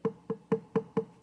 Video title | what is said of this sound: Trimming a Stoneware Bowl | Nice high pitch